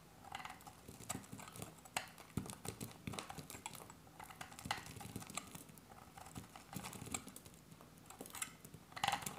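A solid olive-green bar of dry soap held in the hand is sliced with a metal utility blade. Rapid, crisp cutting clicks and scrapes come in quick irregular bursts, each short and dry with a bright edge and no ring. The soap breaks away in a steady run of small cuts.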